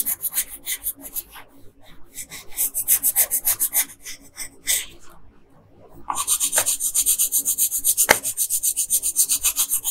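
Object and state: Colored pencil scratching on a paper sheet.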